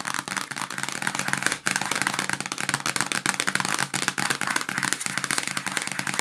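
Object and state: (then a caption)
Cardboard sandwich bag box. Long nails and fingertips tap and scratch a small, hollow yellow printed cardboard box of sandwich bags with the contents still inside. A fast, continuous run of dry, crisp taps and rasping scratches fills the clip, papery and bright with little low end. Each tap dies away almost at once.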